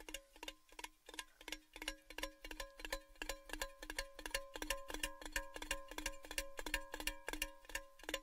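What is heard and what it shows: An empty, hollow, tall orange-red cylindrical metal Baileys gift tin is held next to the mic and tapped rapidly with fingertips and nails. A quick, steady stream of bright, hollow metallic taps rings with layered tones and dies away almost immediately after each hit.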